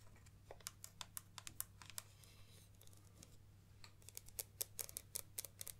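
Long nails tap and scratch on the black plastic barrel and ribbed zoom ring of a Nikon 70-300mm zoom lens with a white rear cap, held upright in hands. Quick, dry, clicky taps sound in irregular bursts, with a faint scratch between them over a steady low hum.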